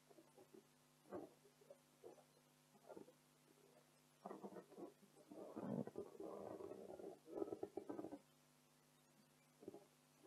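Long decorated acrylic nails scratch and fingertips rub an inflated blue printed latex balloon, hollow and air-filled. Irregular bursts of soft scratching and squeaky, rubbery squeals with a low-mid tone sound against a quiet background, growing denser and louder in the middle before trailing off.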